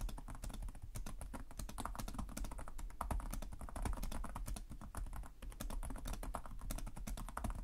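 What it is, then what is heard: Plastic laptop keyboard being typed on. Fingertips type continuously on the plastic keys of a black laptop keyboard, producing a steady stream of quick, dry clicks and taps. Each keystroke dies away almost instantly, and the sound carries a strong low-end thump under the clicking.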